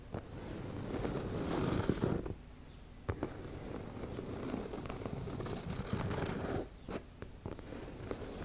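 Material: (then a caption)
Fabric. Long nails slowly scratch the teal embossed fabric of a soft, hollow makeup bag, making a continuous low, rasping scrape. The scraping is broken by brief quiet gaps and sharp small clicks.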